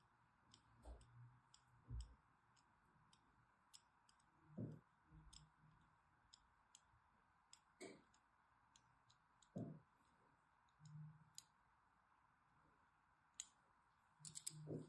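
A thin blade scores crosshatch lines into a solid purple-and-white striped bar of soap held in the hand. It makes irregular, quiet, high, crisp clicks and scratches, mixed with soft low thuds over a faint steady hiss.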